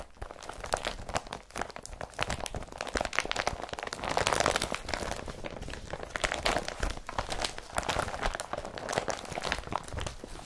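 Hands press an empty blue woven polypropylene IKEA BRATTBY carrier bag, then lift and crumple it. The result is a dense, continuous crinkling and crunching with bright rustling edges, swelling louder around the middle before settling into steady crumpling.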